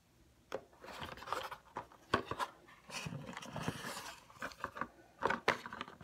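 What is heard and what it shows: A RoC night cream paperboard box, first lying down and then standing upright, is tapped with fingernails and fingertips. Quick, dry clicks and soft thuds come in uneven bursts, mixed with short scratchy rubs against the cardboard. The sound stays light and close, with no ring after each tap.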